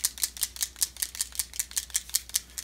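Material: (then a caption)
Metal ball, plastic. A touch-up paint marker with a rattle mixing ball inside is shaken thoroughly so the paint comes out in the right colour and sheen. Fifteen sharp, bright clacks of the ball hitting inside the marker sound in a steady, quick rhythm, each one short and dry with almost no low end.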